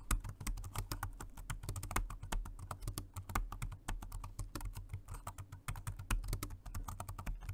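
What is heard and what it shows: Both hands type with their fingertips on a dark grey plastic Jelly Comb dual-mode rechargeable 2.4G wireless and Bluetooth multi-device keyboard. The result is a fast, steady stream of short, crisp key taps. Each tap is quick and dry, with a soft low thud under a bright click.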